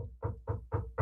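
Four knocks on a big mahogany desk, each a short, dull, low thump centered around 105 Hz with almost no high end. The knocks are evenly spaced and die away quickly, with no ring.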